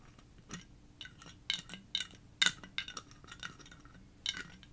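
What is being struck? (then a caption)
Frosted glass bottle with metal cap. Fingernails tap about a dozen times on a medium-size blue frosted glass sake bottle with a paper label and a metal cap, held in both hands, striking both the glass body and the area near the cap. Each tap is a short, bright clink that dies away almost instantly, spaced irregularly with quiet gaps between.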